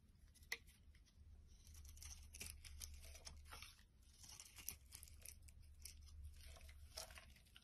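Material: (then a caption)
Soap. A utility knife blade carves shavings off a solid light green bar of soap held in the hand. Crisp, bright scraping and tearing cuts sound in quick bursts, with a few sharper snaps. A steady low hum runs underneath.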